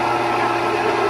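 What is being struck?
Nothing is struck.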